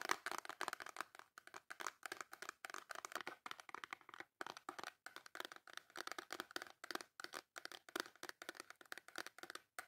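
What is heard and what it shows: Long nails tap and scratch the face of a small white cardboard Dove soap box with the soap still inside. The result is a rapid, continuous run of quiet, dry tapping and scratching clicks, bright and papery, with almost no low end.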